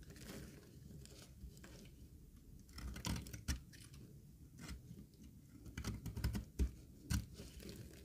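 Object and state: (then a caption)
Dry bar soap being shaved. A green rectangular bar of dry solid soap embossed with lettering is held in the palm and shaved with a utility knife blade. Quiet, dry scraping and crisp crumbly cuts come in irregular strokes over a low, soft rumble, with a few sharper, brighter snaps standing out.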